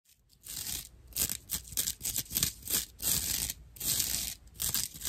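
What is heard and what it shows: Long natural nails scratch a dry, empty, hand-sized rectangular slab of natural loofah, a porous, hollow-channeled plant fiber. Rough, bright, rasping scrapes come in quick, uneven repeated strokes. The sound is almost all high hiss with little low body.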